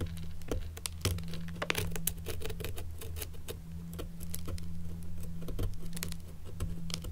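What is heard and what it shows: An old antique leather shoe is held up by hand while a thin wooden stick scratches and picks along its leather strap and seam. Rapid, dry clicks and soft scratchy ticks patter irregularly over a steady low hum.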